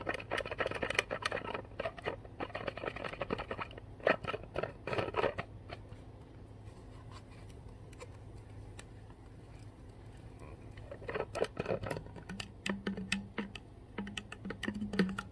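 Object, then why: Plastic water bottle cap. Long nails tap and scratch around the blue hollow plastic cap of a full Core water bottle, making quick, bright clicks over a rustling scratch. A busy stretch of tapping gives way to a quieter pause of light scratching, then the tapping picks up again, with a steady low hum underneath throughout.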